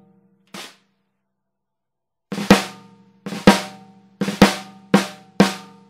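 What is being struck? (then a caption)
Brass-shell snare drum struck with sticks. A Mapex 14x6.5 inch brass snare drum, with a hollow metal shell and a coated plastic head, is played with wooden drumsticks in tapping and rolls. A soft single tap is followed by five louder strokes, several led by quick grace notes. Each stroke gives a crisp, bright crack over a ringing tone near 195 Hz that fades within a short moment.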